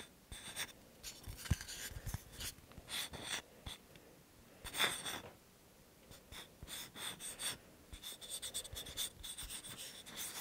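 A small, solid, round, flat, light-tan cork (possibly light wood) coaster is held in both hands close to the microphone and tapped and scratched with fingertips and nails. It makes soft, dry, bright scratching bursts with a few quick, sharp taps, separated by quiet pauses.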